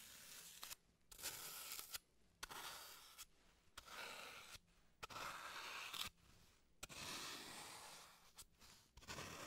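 A solid green floral foam block, held in gloved hands, is carved and scraped with a small blade tool. Bursts of dry, crunchy, bright scraping and crumbling are separated by brief quiet pauses, with little low-end weight.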